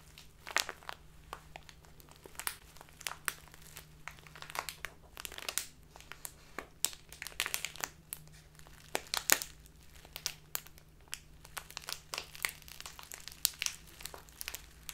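A clear, labeled plastic tea package full of loose tea is held upright and crinkled with fingers and long dark nails. Quick, crisp, bright crackles and rustles come in irregular bursts over a quiet, steady low hum.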